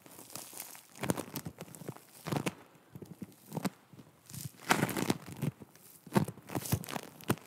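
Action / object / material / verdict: scrape / foam bead clay / foam beads / none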